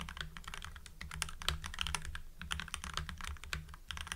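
Fingertips type rapidly on a full-size mechanical keyboard with lubed Gateron Yellow linear switches, white PBT cherry-profile keycaps and blue backlight, producing short, poppy, bright clacks with a steady low hum underneath. The hands withdraw at the end of the stretch.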